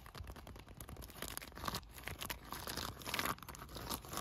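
A blue plastic bubble-wrap-style solar pool cover, made of thin air-bubble film, is scratched, rubbed and crinkled with fingertips and nails. It produces a dense, continuous run of crackly, crinkling scrapes with bright rustling texture and no pauses between the sounds.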